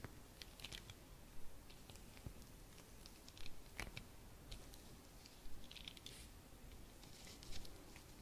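A round Christmas bauble covered in dark fabric with embroidered roses, a blue ribbon and small metal studs is held and turned in the hands while long red nails tap and scratch the fabric and studs. The result is quiet, irregular soft tapping and scratchy rustling with short, bright clicks from the studs over a low, muffled background.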